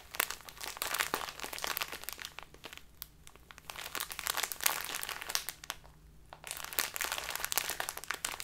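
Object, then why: Small plastic bag of loose tea. A small plastic bag full of loose tea is squeezed in both hands, then turned and crinkled with the fingernails. It makes dense, bright crackling and crunching with many sharp little snaps. The sound eases briefly around three and six seconds before picking up again.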